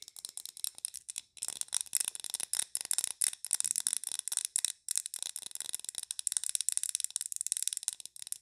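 Long nails tap quickly on a large glass candle jar filled with green wax and topped with a glass lid, held in the hands. The result is a rapid, uneven patter of sharp, bright clicks that die away almost instantly, with nearly no low end and only brief pauses between bursts.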